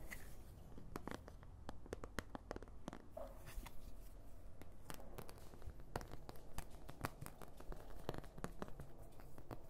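A large, thin, hollow-backed oval white plastic paint palette with round wells is tapped and scratched with long nails close to the microphone. Many sharp, short clicks stand out over a low, steady rumble, with soft scratching between the taps.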